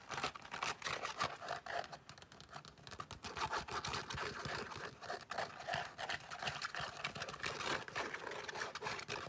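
Long nails scratch across an open cream leather long wallet with a snap flap, producing a dense, irregular stream of quick, dry scratching and crinkling sounds. The texture stays bright and hissy with little low end, continuing steadily for about nine seconds.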